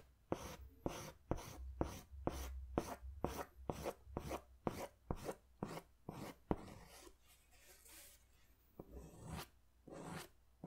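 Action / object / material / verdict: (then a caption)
scrape / paper sketch pad drawn on with a pastel crayon / paper / none. A pink pastel crayon held in the fingers is scratched in curved strokes across a large white paper sketch pad. There is a steady series of short, dry, rasping strokes with a bright scratchy edge over a faint low hum. They fade into softer, smoother rubbing before a few final strokes.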